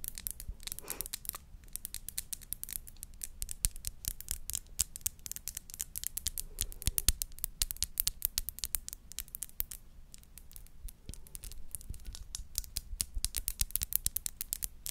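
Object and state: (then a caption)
Glass perfume bottle. Long nails tap and scratch the faceted sides of a small clear glass perfume bottle with a crown cap. Rapid, crisp, bright clicks and short scratches come in dense bursts over a steady low hum, each tap dying away almost instantly.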